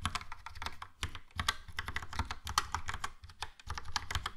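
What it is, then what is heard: Plastic mechanical keyboard. A Logitech POP Keys plastic mechanical keyboard, with a yellow plastic case and round plastic keycaps, is typed on quickly with the fingertips. It gives a steady stream of short, clicky taps, each with a low thump under a bright plastic click that dies away almost at once.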